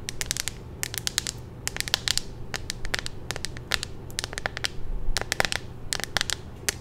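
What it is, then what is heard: Plastic phone case tapped and scratched. A hollow clear plastic phone case with a pink magnetic ring, held in both hands, is tapped and scratched with long nails. The result is a rapid, irregular series of sharp, bright clicks and crackly taps that stop instantly, over a steady low background rumble.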